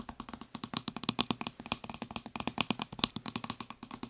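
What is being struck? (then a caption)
Plastic spray bottle. Fingertips and nails tap quickly on the white trigger head and upper body of a blue plastic spray bottle, making about 26 short, dry clicks over four seconds. Each tap is bright and crisp with a faint hollow tone underneath, and dies away almost at once.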